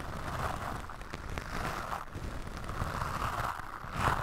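A black, soft, porous foam microphone windscreen is brushed and scratched by the white bristles of a bamboo toothbrush held in the fingers. The result is a continuous, dense, crackly rustle with a warm low body and a midrange hiss, swelling and easing in soft waves.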